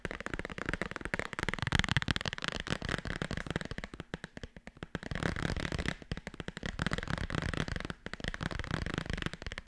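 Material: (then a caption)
Cardboard. Long red nails rapidly tap and scratch the cover and spine of a small, thick, solid black hardcover bible. The result is a dense, continuous run of short, dry, dull taps with a low, thumping body, mixed with brief scratchy passes and a few quieter gaps.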